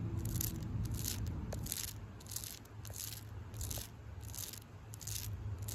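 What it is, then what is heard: Tree bark. Long pink acrylic nails scratch the rough, flaky bark of a solid tree trunk in a steady back-and-forth rhythm. Each stroke gives a bright, crackly scrape over a constant low rumble in the background.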